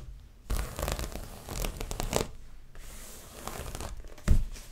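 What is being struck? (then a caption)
Stretched canvas on a wooden frame. Long fingernails on both hands scratch and tap the taut front of a stretched canvas dreamcatcher print on its frame, held close to the microphone. Bursts of dry, broadband scratching alternate with quieter gaps, carrying a low thumpy body. A sharper, louder tap lands near the end.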